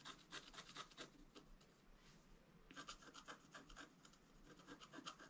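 A wooden stylus scratches and rubs the coating of a flat, black-coated scratch art paper board near the antlers. The clip is a quiet run of short, dry, raspy strokes with a bright, papery edge, coming at an uneven rate of about four per second. There is a softer smeared rub near the middle before the crisp scratching picks up again.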